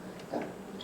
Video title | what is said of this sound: 세계도자기 역사이야기- 백산 헤리티지 김남희 대표 | 이렇게 두드리면 둔탁한 소리가 나요